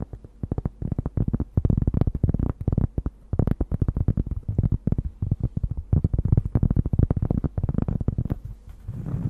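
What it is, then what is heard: Cork board. A large, thin, solid round cork disc is held over a microphone with both hands while long nails scratch and tap its surface. The result is a dense run of short, dull, low taps and scratches with almost no ring, mostly deep in tone, ending in a softer rustle.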